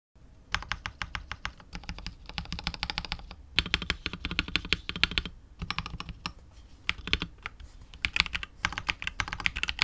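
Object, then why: Mechanical keyboard with PBT plastic keycaps and polycarbonate case. A KBD67 Lite R2 65% mechanical keyboard with KTT Wine Red linear switches, white and grey PBT keycaps, and a hollow clear translucent polycarbonate case with RGB lighting is typed on rapidly with the fingertips of both hands. Fast runs of short, dry, bright clacks with a light low thump underneath come in bursts, separated by brief pauses. Each keystroke dies away almost instantly.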